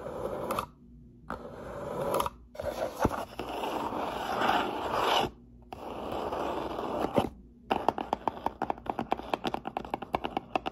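Long natural nails and fingertips scratch and rub across the top edge and front face of a medium, closed, hollow brown corrugated cardboard shipping box lying on a table, making dry, papery scraping bursts separated by short pauses. After about 7.7 seconds the sound switches to a quick run of sharp, crisp taps on the box.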